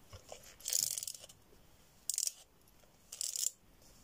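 An empty, hollow cardboard tube about 30 cm long, held in both hands, is tapped and scratched along its surface with long red-painted nails. A few faint light taps are followed by three separate bursts of dry, bright, crackly scratching, with quiet pauses between them.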